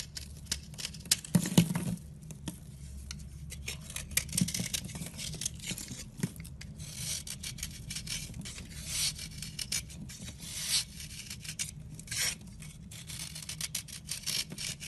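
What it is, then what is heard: Dry soap block being scraped. A round block of solid, dry, chalky white soap held in the hand is scraped by a red-handled blade, shaving off powdery flakes. Dry, bright rasping scrapes and soft crumbly shaves repeat irregularly over a low steady hum, with a few sharper scrapes near the start.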